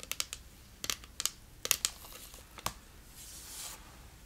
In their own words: 24:40 Tapping on plastic whale